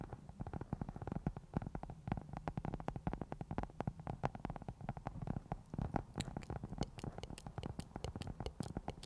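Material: Foam.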